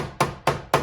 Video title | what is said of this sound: Simple Car Paint Touch Up For Damaged and Peeling Paint. | if I was tapping on an area where it's hollow, you can hear big difference